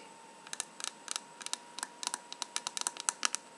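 Fingernails tap and scratch the lid of a small lacquered wooden box with a gold-leaf lid, decorated in gold foil with red flowers. About nineteen sharp, bright, dry clicks come in an irregular rapid series, each dying away at once, over a faint steady high-pitched tone.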